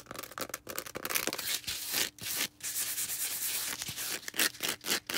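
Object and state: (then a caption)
Foam sponge being scratched. A small green foam sponge is rubbed and scratched with long red nails. The result is a series of dry, bright, hissy rubbing and scratching bursts with almost no low end, broken up by brief silent gaps.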